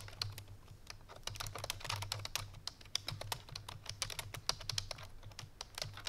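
Fast, clicky typing on a full-size black plastic computer keyboard resting on a white fur rug, struck with the fingertips and painted nails of both hands. A dense stream of sharp, bright key taps with quick, dry decay runs over a steady low hum.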